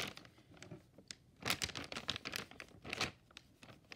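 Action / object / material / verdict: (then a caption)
tap / flexible plastic film frozen food pouch / plastic film / none. A medium flexible plastic-film Bertolli frozen shrimp scampi pouch is held in one hand and crinkles as a purple-handled brush and stick tap and brush its surface. Bright, dry crinkling and crunching bursts come in uneven clusters, with the loudest flurries around the middle and near the end, and they stop quickly without ringing. A nearby bowl of noodles is not touched.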